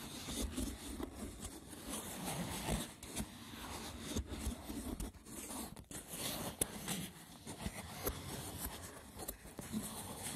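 Fingertips with short nails scratch and tap the braided top of a small, hollow, rectangular woven wicker box with a lid. A steady, rough, crackly scratching fills the clip, broken by occasional short, dry taps, with a low hollow body and a bright, brittle texture on top.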